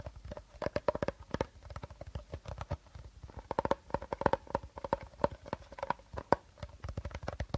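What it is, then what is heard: Empty plastic bottle. Short nails tap rapidly on the body and teal cap of an empty, hollow clear plastic bottle held upright. The result is a quick, uneven run of dry, clicky taps, each with a faint hollow ring around 550 Hz that dies away almost instantly.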